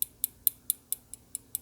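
The slightly bent-back metal pocket clip of a tan aluminum serrated folding knife, a Microtech MK6 Sigil flipper, is tapped against the knife's aluminum handle. It produces eight quiet, sharp, bright clicks at an even pace of about four per second, each dying away almost instantly. The clicking shows the clip is bent and no longer sits right against the body.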